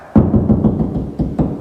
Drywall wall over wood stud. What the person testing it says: you can tap and you can tell it right there there's gonna be a stud